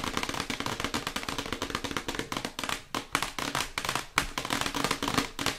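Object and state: Printed cardboard product box.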